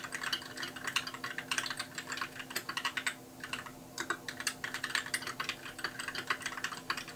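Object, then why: Plastic mechanical keyboard keys. Fast two-handed fingertip typing on a compact white mechanical keyboard with plastic keycaps produces a rapid, steady stream of bright, clicky keystrokes. Typing pauses briefly just past the three-second mark, then resumes at the same quick pace over a faint steady hum.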